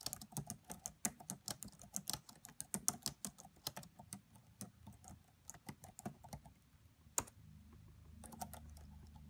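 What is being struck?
Plastic laptop keyboard keys.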